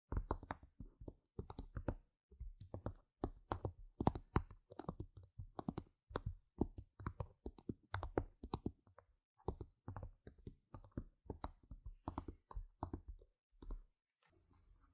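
Long red nails tap rapidly on the faces of small, solid, round plastic game gem tokens lying on a mat, recorded close up. The taps come as quick bursts of short, dry clicks with brief pauses between them. Each click dies away instantly, and a faint, softer patter closes the clip.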